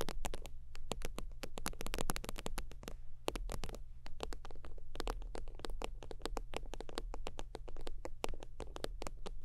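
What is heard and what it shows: Long teal fingernails tap rapidly across the surface of a holographic synthetic-leather zip wallet lying flat. The taps are dense, dry clicks that die away almost instantly, each reaching up into bright highs, over a steady low hum.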